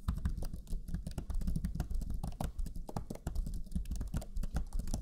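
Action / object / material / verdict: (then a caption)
tap / plastic laptop chiclet keyboard / plastic / none. Fingertips of both hands type rapidly on the low-profile plastic chiclet keys of a black Lenovo Legion 5 laptop keyboard. The result is a dense stream of short, soft clicking taps with a deep, muffled body and very little high-end sparkle.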